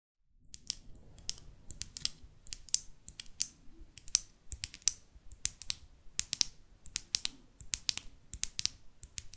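A small closed pink plastic lip gloss tube with a metallic cap is held in the hands and tapped and scratched along its length with long artificial nails. Rapid, bright, dry clicks and taps sound in quick irregular bursts, with no ring after each one, over a faint low rustle.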